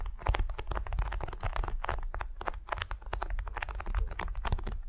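Long nails scratch and slide across a flat, patterned beeswax-coated cotton wrap laid over a furry mat. The result is a steady run of quick, crisp crinkling scratches with bright edges over a soft, low rumble.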